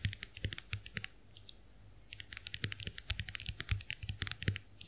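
Long nails tap quickly on the dotted plastic shells of a small, round, white plastic clamshell hand mirror held open. The result is a fast run of bright, crisp clicks with a soft low thump under some of them, broken by a short quiet pause near the middle.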